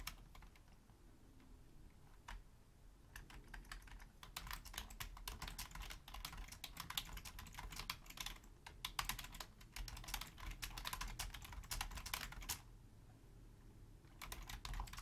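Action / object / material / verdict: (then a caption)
tap / plastic computer keyboard / plastic / none. Long painted nails and fingertips type steadily on a black Logitech plastic keyboard resting on a wooden desk. Fast, bright, clicky key taps come in bursts, with short, dry rattles and a few brief pauses between runs.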